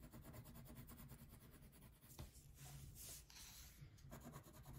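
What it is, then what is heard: Wax crayon shading on a paper sheet. A thin paper coloring sheet resting on a table is shaded with a purple wax crayon held by a hand with painted nails. The result is a quiet, steady rubbing and scratching of crayon strokes with a low rumble underneath. Bright, hissy bursts of stroking come through in the middle of the clip.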